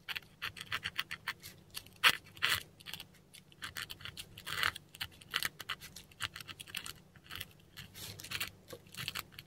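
A metal dip pen nib scratches German words in ink across a flat, textured Korean paper sheet. The result is a quiet run of short, bright, scratchy strokes with brief pauses between letters, carrying almost no low end.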